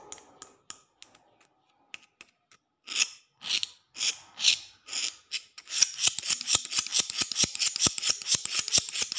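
The metal blade of a green-handled utility knife, held in the hand, scratches and taps a large, solid outdoor concrete floor with a rough, stained surface. A few light, sparse ticks give way to separate bright scraping strokes. These build into a rapid, dense run of high, dry scratches and sharp taps that lasts until the end.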